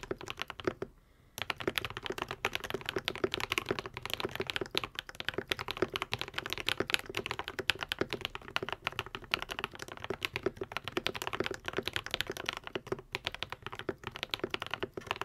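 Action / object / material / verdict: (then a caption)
tap / mechanical keyboard with plastic keycaps / plastic / none. A modded Epomaker TH80, a white and pink 75% mechanical keyboard with Akko V3 Cream Yellow switches and plastic keycaps, is typed on continuously with the fingertips of both hands. Dense, fast, bright clacks with very short decay run throughout, interrupted only by a brief pause near the start.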